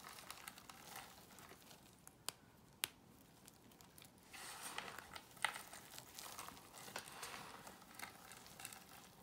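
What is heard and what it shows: A pile of dry cream soap shavings and chunks on a white surface is crushed and crumbled between the fingertips of both hands. Quiet, bright crackling and crinkling comes in scattered bursts, with a couple of sharp isolated snaps early on. It then gives way to denser, steadier crumbling in the second half.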